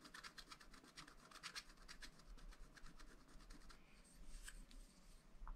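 A wooden stylus scratches and rubs the black coating of a sheet from a scratch-art paper pad. Quiet, dry, rapid scraping strokes with bright, gritty edges sit over a steady low rumble.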